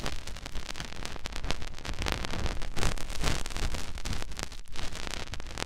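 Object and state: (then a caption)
Silicone microphone ear rubbed. Fingertips rub the soft silicone outer ear of a white binaural microphone. The result is a continuous, uneven crackling rustle with a heavy low rumble and irregular scratchy bursts that flare bright across the clip.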